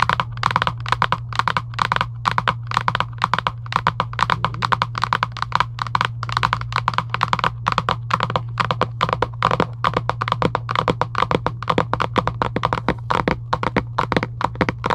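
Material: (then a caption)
Cardboard. Long acrylic nails tap rapidly and continuously on a hollow Giant UNO cardboard game box lying flat. The taps are short, dry and hollow, centered around 1.1 kHz with almost no ring. A steady low hum runs underneath throughout.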